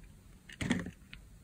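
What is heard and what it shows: A blade scrapes and slices the surface layers off a solid pale green bar of dry soap held in the palm. A brief faint scratch leads into a louder, dry, crumbly cutting burst of about a third of a second, with a low body and bright crackle, then a small final scrape.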